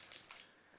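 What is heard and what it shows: A small box holding marbles is shaken, and the marbles inside give a quick, bright rattle of three clicky knocks. The sound is almost entirely high-pitched and fades within about half a second.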